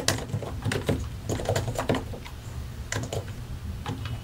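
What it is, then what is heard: Plastic mechanical keyboard. A white and grey plastic mechanical keyboard with solid keycaps over switches is typed on continuously with the fingertips of both hands. The keys give a steady run of quick, short clacks and taps with a thocky low body and bright clicks.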